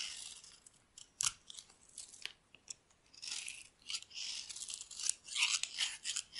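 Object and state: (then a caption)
Dry bar soap being shaved. A solid, dry yellow bar of soap held in the hand is shaved with a metal blade into long, thin curls. The result is a series of irregular, dry scratching and cutting bursts that are bright and crisp, with almost no low end, each stroke stopping short with no ring.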